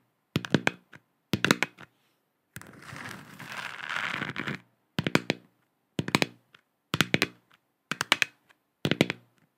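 A hand-sized, hollow plastic moon lamp sphere with a galaxy print, lit and held in both hands, is tapped and scratched with long acrylic nails. Seven quick bursts of bright, clicky taps ring out, with a steady scratching rasp of about two seconds between the second and third bursts. Each tap is short and dry with almost no ring.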